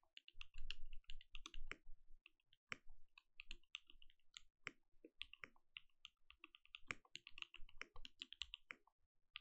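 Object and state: Mechanical keyboard with plastic keycaps.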